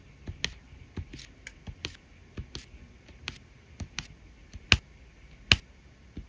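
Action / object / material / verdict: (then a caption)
tap / resin rhinestone drills on adhesive canvas / resin / none. A drill pen places red resin rhinestone drills in rows on a printed adhesive diamond painting canvas, pressing each one down with a light tap. The result is a quiet, uneven series of short, bright clicks and ticks that die away instantly, with two sharper, louder taps near the end.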